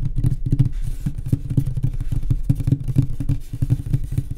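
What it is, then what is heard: Wooden nightstand. Fast tapping on a wooden nightstand produces a rapid, continuous stream of low, dull knocks. Each tap is short and dies away almost instantly, with nearly all of the sound sitting in the deep low end.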